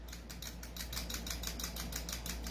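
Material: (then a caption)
Metal. An airsoft gun whose outer barrel is not fixed is shaken, producing a quick series of about 15 bright metallic rattles over a steady low hum. The loose outer barrel rattles audibly, which is a fault, since a properly fixed barrel should not rattle.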